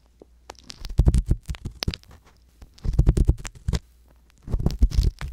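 A wooden-handled metal ear pick scratches slowly inside the canal of a soft silicone ear mounted on a hollow white binaural microphone body. The result is close, muffled, low rumbling scrapes and rustles, heard in three bursts separated by near-silent pauses.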